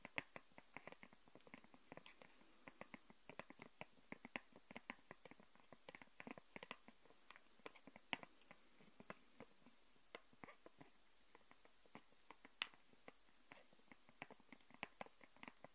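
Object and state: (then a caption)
Clear plastic sheet. Long nails tap rapidly across a thin, clear plastic sheet lying flat on a wooden table. Dozens of quick, light, crisp clicks with a bright, papery edge come in an irregular flurry, each dying away almost instantly over a very quiet background.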